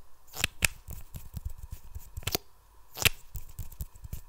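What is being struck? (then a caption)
Plastic mascara tube and wand. A small, hollow lime-green plastic mascara tube is held in both hands while its wand is repeatedly pulled out and pushed back in. This produces quick, dry friction clicks against the plastic neck, with a few sharper, brighter clicks standing out above softer scraping and low thuds.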